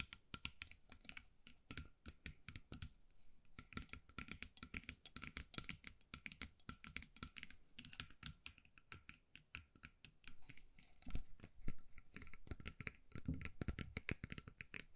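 Long nails tap rapidly on the beads of a small bead-covered metal mug with a handle, held in both hands. The result is a quiet, dense stream of irregular, sharp clicky taps with a bright edge that die away almost instantly, over a soft low undertone. The tapping grows slightly louder toward the end.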